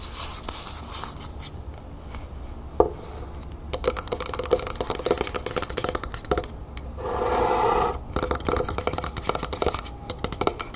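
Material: Metal.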